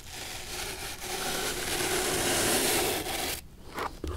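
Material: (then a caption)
Leather. A bristle brush is swept across the leather of an antique studded shoe sole with a metal heel plate, held up by hand. A steady, bright, dry scratching rush builds gradually for over three seconds, then cuts off, leaving a few softer brush strokes at the end.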